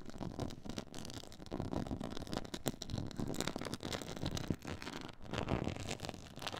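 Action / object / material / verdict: scrape / textured faux leather board / faux leather / none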